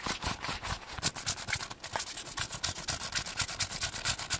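A massage ball is tapped and scratched at high speed, giving a rapid run of quick, clip-clop-like taps over a bright, scratchy rubbing texture. Each tap is short and dies away almost at once.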